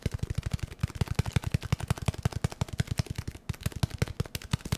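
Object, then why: Small cardboard box. A small, hollow, white and yellow cardboard product box is held in the hands and tapped rapidly with the fingertips. The taps are quick, dull, hollow thumps, deep in tone with almost no ring, falling in a fast, uneven rhythm with a brief pause near the middle.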